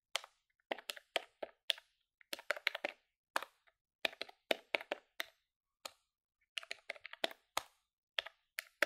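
A grey plastic desktop calculator with a hollow body, held on a palm over a wooden desk, has its keys pressed quickly by fingertips with long nails. The result is a fast, irregular run of short, dry, bright plastic clicks in small bursts, with no low-end thump and almost no ring.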